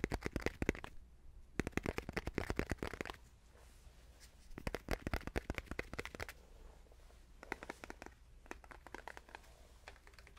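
Rapid bursts of fingertip and fingernail taps on a small, palm-sized white art canvas, made of cotton stretched over a thin wooden frame with a hollow back. Each burst pairs a hollow low thump with crisp, bright clicks. The bursts are separated by quieter pauses with a low steady hum, and the taps grow louder and softer as the canvas moves close to and away from the microphone.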